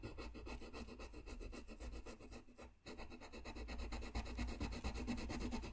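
A blue colored pencil scratches and rubs back and forth across a flat white sheet of paper while coloring. Quick, steady strokes make a dry, rasping hiss with a low rumble underneath. The strokes pause briefly near the middle, then resume slightly louder.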